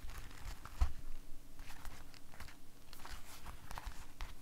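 An empty, hollow blue rubber household glove is held up and handled with bare fingers, shaken, squeezed and rubbed against itself. This produces soft, continuous rubbery crinkling and scuffing with short brighter squeaks over a dull low rumble. One slightly louder thump stands out near the start.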